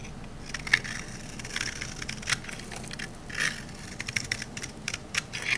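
A rectangular, solid green olive-oil soap bar held in the hand is scraped with a metal knife blade, shaving off dry curls. Bright, crackly crunching scrapes come in quick uneven bursts, with sharper peaks standing out in the high range.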